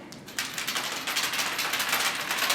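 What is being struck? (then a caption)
Plastic Easter egg holding small loose items. A plastic Easter egg with small hidden items inside is shaken, producing a rapid, bright rattling of the contents against the plastic shell. Quiet at first, the rattle becomes continuous and dense after the shaking starts, mostly high-pitched with almost no low end.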